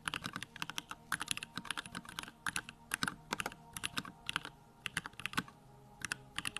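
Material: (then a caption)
Plastic. Fingertips type rapidly on a small 65% Bakeneko65 mechanical keyboard with Durock lavender switches, a plastic case, white plastic keycaps and the backlight on. Bursts of sharp, bright, clacky keystrokes fall in quick clusters separated by brief pauses, each click dying away almost instantly over a faint low background.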